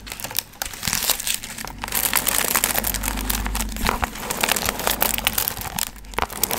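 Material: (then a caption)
Foil. Long nails scratch and crinkle the gold foil fringe on a medium hollow paper pumpkin piñata. Dense, bright crinkling and rustling run almost continuously throughout, with sharp crackles over a faint low hum.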